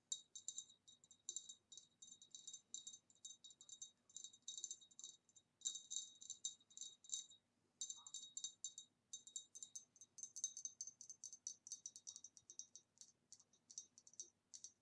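Long nails tap and scratch over the ribs and rim of a hollow, empty green ribbed glass vase held by hand at its base. The result is a fast, uneven stream of sharp glassy clicks with a bright tone near 3.8 kHz and higher ringing above it, each tap dying away almost at once. There is a brief pause about halfway through.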